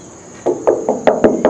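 Six knocks on the side of a Ford F100 steel truck bed, on the thin panel where a chrome molding strip used to be mounted. Each knock is a short, mid-pitched tap that fades quickly, and the panel sounds like metal.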